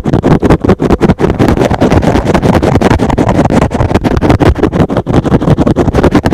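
A rectangular, soft, porous, hand-sized green and blue synthetic foam sponge is held in one hand and rapidly scratched with fingertips and short nails. The result is a dense, continuous run of quick, muffled scratching strokes with a heavy low-end rumble and very little brightness.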